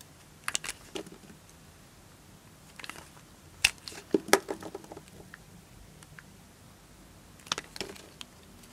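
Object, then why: Bar of soap. A knife blade slices and scrapes pieces off a green and white striped bar of dry soap held in the fingers. Short, dry, crisp crunches and scrapes come in irregular clusters with quiet gaps between them, and each one is bright and dies away almost at once.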